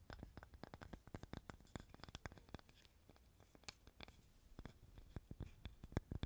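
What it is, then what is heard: Wooden cutting board scratched and tapped with nails. Long nails scratch and tap on a small, light, solid wooden cutting board. Rapid, dry clicks and short scrapes come in quick, irregular bursts, each dying away almost instantly, with most of the energy low and a faint bright edge.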